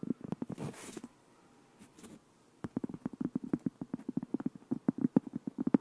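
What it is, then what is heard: Cork board. Fingertips and nails tap and scratch along the edge and surface of a thin, solid, flat round cork board about 20 cm across, held edge-on and then face-on close to the microphone. A quick burst of soft, dull taps and a brief airy scratch gives way to near silence with a faint brush. Then a long, fast run of muted, low, woody taps follows, each dying instantly without ringing.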